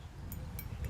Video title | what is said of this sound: French Creek Heritage "Trail Of Military History 2024" | if you take a mini ball and you hit it with it, Oh, it's got like a tinny sound